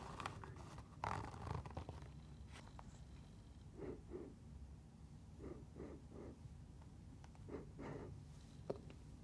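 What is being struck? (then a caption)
Mesh fabric sneaker. A sneaker with a blue striped mesh upper and orange laces is held in the hand and scratched and tapped along its side with long nails. Soft, papery scratching bursts come in short pairs over a quiet, low rumbling background, with a few brighter ticks where the nails catch the mesh.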